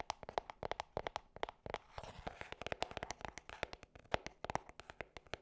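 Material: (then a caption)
Cardboard. Long nails tap and scratch a small, hollow gold cardboard perfume box with a ribbon tag. About 35 quick, dry taps with a hollow midrange knock near 670 Hz are heard. The taps break into a brief rough scratching stretch around two seconds, and each sound dies away almost instantly.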